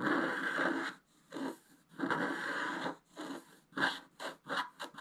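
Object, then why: Scratch-art paper sheet scraped with a wooden stylus. A wooden scratch stylus scrapes the coating of a flat, black-coated scratch-art paper page in fast strokes. Eight dry, papery scratches are heard, starting with two long strokes and then quickening into short, rapid ones, each a bright, hissing rasp with almost no low end.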